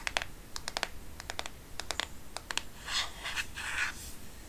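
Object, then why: Plastic smartphone case. Long nails tap the plastic back and sides of a black smartphone case, held edge-on in one hand, making quick, dry, bright clicks in rapid irregular clusters. The taps give way to longer, hissy scratching strokes over the plastic before a few softer taps close the clip.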